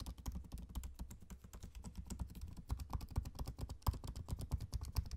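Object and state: Laptop keyboard, plastic keys.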